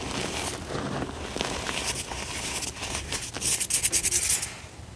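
Fingers pinch, squeeze and rub fine pink dyed gym chalk powder, crushing it. What comes through is a soft, dry, gritty rustle of scratchy high hiss. It ends in a brighter burst of crisp crunching near the end.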